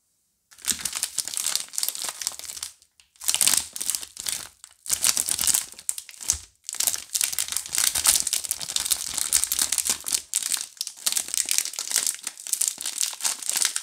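A full four-bar Duru soap pack, with hand-sized solid soap bars inside thin clear plastic film, is held and squeezed in both hands while fingertips and long painted nails press and crinkle the wrap. Bright, crackly plastic crinkling comes in dense bursts, broken by a few brief silences. It has almost no low end.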